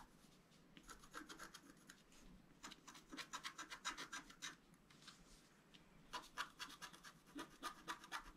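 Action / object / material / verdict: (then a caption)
scrape / scratch-art card with black coating / coated card / none. A wooden stylus scratches fine strokes through the black coating of a flat scratch-art card, its coating laid over a colored foil layer, held flat on a table. Quick dry, raspy scratching bursts with bright, hissy highs come in clustered runs separated by quieter pauses.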